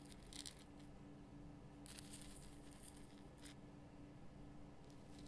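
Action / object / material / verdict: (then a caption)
scrape / rock salt lamp / rock salt / none. Long fingernails scratch the rough crystal sides of a large pink Himalayan rock salt lamp, producing quiet, dry, crinkly scraping in several bright bursts. A faint, steady low hum runs underneath throughout.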